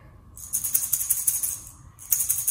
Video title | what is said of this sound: 9H00 - SÁNG TẠO NHẠC CỤ TỪ CHAI NHỰA - TRẺ 3 - 4 TUỔI | bên trong rỗng có chứa các hạt xúc xắc nhỏ đấy